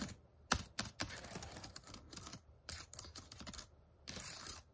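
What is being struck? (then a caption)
Plastic laptop keyboard keys. Fingertips and short nails type on the plastic keys of a white HP laptop keyboard. Irregular bursts of bright, clicky taps and rattles follow one another, with a sharp loud click early on and a longer scratchy stretch near the end.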